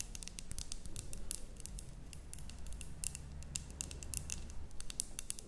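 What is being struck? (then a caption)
Glass jar with cork lid, holding soil and moss. Long nails tap rapidly on the glass walls of a medium glass terrarium jar with a cork stopper, holding soil and moss. The result is a steady stream of short, bright, clicky taps over a soft low rumble.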